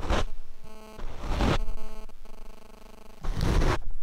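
A paint brush sweeps across the black foam windscreen of a Rode microphone, producing deep, muffled, rumbling swishes in several separate strokes. Between the strokes a steady, faint tonal hum with layered harmonics can be heard.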